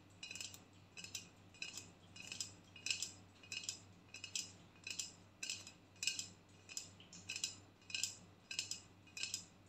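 An empty aluminium aerosol body spray can, held sideways in both hands, is tapped and clicked with long painted nails. Quick bursts of bright, dry, tinny clicks repeat steadily across the clip, each dying away almost at once over a faint low hum.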